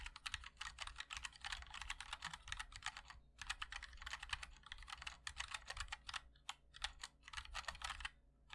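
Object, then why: Mechanical keyboard, ABS keycaps, aluminium case. Fingertips of both hands type continuously on a MOD-L Linear 60% mechanical keyboard with white and black ABS keycaps in a black aluminum case. Rapid, bright, short clacks run in dense bursts over a low hum. There are brief pauses near 3 seconds and at the very end.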